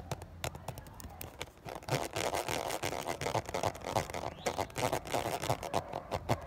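A fingernail scratches and taps the ridges of a clear, ridged 500 ml plastic water bottle with water and droplets inside. The sound is a fast, irregular stream of crisp, bright clicks and short scratchy rasps with a hollow plastic tone, each dying away almost at once. It grows busier and louder after the first couple of seconds.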